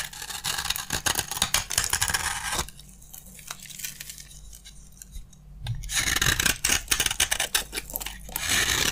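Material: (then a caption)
Soap. A utility knife blade scrapes crunchy curls from a solid, dry green bar of soap, making bright, dense, rasping crackles. The scraping runs for about two and a half seconds, drops to faint, sparse scratches for roughly three seconds, then returns just as bright and crunchy until the end.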